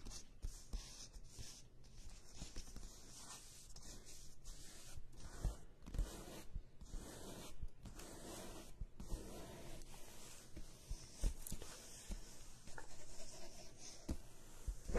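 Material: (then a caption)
Paper. Long nails on both hands scratch and tap the paper cover of a medium-size spiral-bound paper notebook lying flat, while a pen is briefly held near it at the end. The scratching is a quiet, dry rustle, broken by short, sharp taps with a dull low thump and almost no ring.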